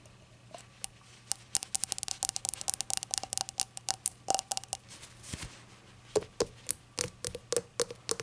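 Long acrylic nails tap and scratch the glossy surface of a small, hollow, rainbow-glazed ceramic novelty shot glass that appears empty and is held on a towel. Dozens of quick, bright clicks die away almost instantly, some carrying a faint ringing tone around 430 Hz, with soft scratching in between.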